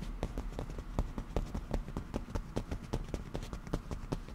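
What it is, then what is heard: Leather cushion. Black-painted nail tips tap quickly on a padded black leather cushion with a grained surface, giving about 22 short, dull, soft thuds in an uneven rapid run. The taps are muffled and mostly low with almost no ring.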